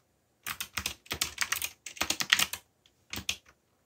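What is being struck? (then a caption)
Plastic mechanical keyboard. Fingertips, one wearing a bandage, press and tap the keys of a backlit black plastic mechanical keyboard with Korean keycaps and hollow key switches while typing. Quick bursts of bright, hollow, clacky keystrokes with almost no low end are heard, separated by brief pauses. Each click stops dead with no ring.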